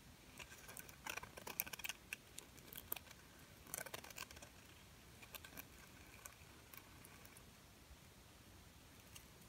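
Long painted nails tap and scratch a small, silver, glitter-coated plastic bird ornament held in the hand. Quiet, crisp, bright clicks and gritty scratches come in busy clusters during the first half, then thin out to softer, scattered ticks over a faint hiss.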